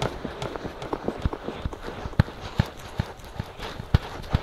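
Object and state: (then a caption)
Silicone microphone ears being scratched. Fingertips and short nails of both hands scratch and rub the palm-sized soft silicone outer ears on both sides of a black 3Dio-style binaural microphone on a stand. It makes a steady, irregular scratching and rustling texture, broken by soft, muffled low thumps. Each thump dies away almost instantly.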